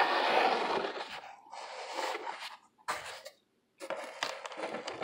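Nails scratch the ribbed side of a hollow corrugated cardboard box, making dry, rasping bursts of scraping in the mid and upper range with short silent gaps between strokes. At the end, the box is tilted toward the camera.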